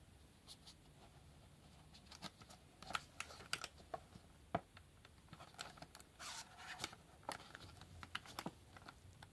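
Yellow rubber-gloved fingertips tap and scratch the back and bottom faces of a small, hollow, printed black cardboard retail box holding a Hellraiser puzzle cube. Quiet, dry, irregular taps click with almost no ring, mixed with brief bright scratches, including a longer scratchy rub just past the six-second mark.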